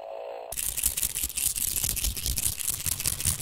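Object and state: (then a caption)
Plastic toy tapped and clicked. A round, white and silver hollow plastic toy game with a red tab is tapped by fingers and its tab is pulled. After a brief steady hum, a quick, irregular run of sharp plastic clicks and taps follows, bright and dry with little ring.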